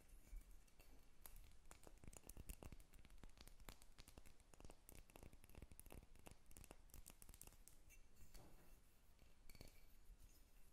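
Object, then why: Carved wooden dolphin figurine. A solid carved wooden dolphin figurine is held in the hands while long red nails scratch and tap across its surface and underside. The result is a quiet, dense run of short, dry clicks and taps with very little ring, mixed with soft scratching and a faint high edge.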